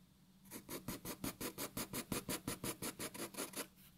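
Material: Paper.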